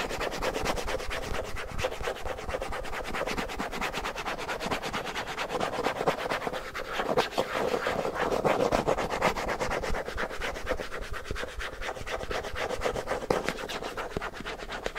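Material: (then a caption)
Plastic. Fingertips and nails rub and scratch across the lid of a closed, round, hand-sized body-butter tub, likely plastic. A steady, dense stream of rapid scratchy strokes carries a gritty midrange rasp with faint bright edges, rising slightly in intensity midway before easing off.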